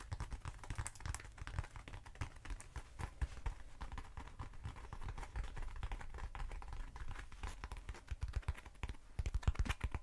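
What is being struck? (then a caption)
Styrofoam cylinder. Long nails tap quickly on a short, hollow black Styrofoam cylinder held up near the face. The result is a dense stream of dry, clicky taps with a soft low thump beneath them, each dying away almost instantly. The tapping grows louder and sharper in the last second.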